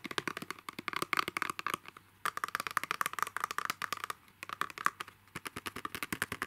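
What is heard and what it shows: A narrow, hollow, transparent plastic box holding a donut-topped pen is held upright and tapped with fingertips and short nails. About 37 quick, dry, clicky taps come in rapid bursts with brief pauses, each carrying a light hollow tone around 1.2 kHz and a bright edge, with almost no ring.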